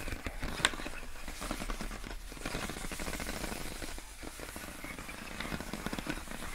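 Long acrylic nails tap and scratch the ribbed surface of clear, inflated plastic air column wrap around a pink box. A dense run of small crackly plastic ticks and rubbing scrapes with a low rumble underneath, and one sharper, brighter tap near the start.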